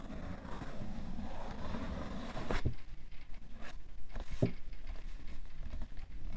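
A cardboard tissue box is tapped with a fingertip and nail on its side and top. Soft, dull, low taps mix with a steady scratchy rustle, and a couple of sharper clicks stand out in the middle.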